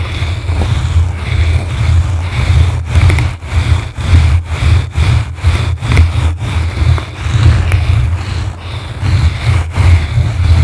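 Two blue plastic brushes scratch and rub a yellow foam microphone windscreen from the sides. The result is a loud, continuous low rumble centered around 80 Hz, with faint scratchy brushing and brief bright crackles riding on top.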